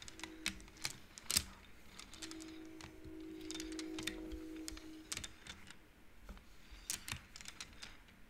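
Long painted nails and fingertips of both hands slide and flick rows of painted wooden beads along the metal rods of an upright wooden-frame abacus. The beads make sharp, bright clicks against each other, with short sliding rattles between them. A faint steady tone runs under the middle of the clip.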